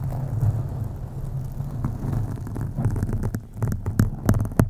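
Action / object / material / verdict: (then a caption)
scrape / foam microphone windscreen / foam / none. Long acrylic nails on both hands scratch a black foam windscreen on a USB microphone. The result is a deep, muffled, throbbing rumble centered low around 100 Hz, with sharper, brighter scratching strokes cutting through more often toward the end.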